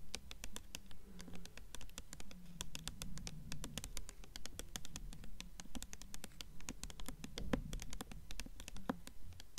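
A blue hardcover book with a paper dust jacket is held upright while long nails tap and scratch its front cover jacket. Dozens of quick, dry taps come at a brisk, slightly uneven pace, with soft scratching between them. Each tap dies away almost instantly, leaving a low, papery texture.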